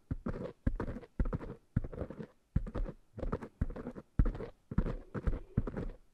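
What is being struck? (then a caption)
Foam microphone windscreens. Fingertips grip the sides of two small, soft black foam microphone windscreens and rub and scratch them. The result is a series of short, muffled, bassy bursts of rubbing and scratching, separated by brief pauses.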